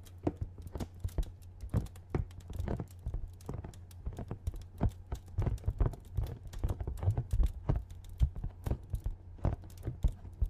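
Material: Cardboard.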